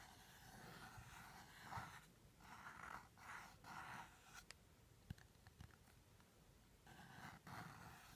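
Fingertips and short nails tap and scratch the top and sides of a small teal rigid cardboard jewelry box held close. Soft, breathy scratching swells in bursts, broken by a few sharp, dry taps that die away instantly. The overall level stays quiet and close.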